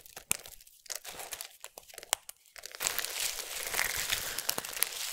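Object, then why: Pile of soap shavings. Fingertips with long nails pick at, rub and crumble a bed of small, solid, dry multicolored soap strips resting on a surface. Sparse, sharp crinkling clicks and scratches fill the first few seconds, then give way after about 2.8 seconds to a denser, steady, bright crunching and crumbling. The texture stays crisp and high with almost no low end.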